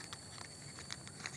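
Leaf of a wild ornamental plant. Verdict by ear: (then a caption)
Stiff. A finger taps the glossy, stiff, leathery leaf of an unidentified wild ornamental plant in a forest, giving light, dry knocks that sound like cardboard or paper, almost like plastic. Five quick taps are heard over a steady faint background hiss.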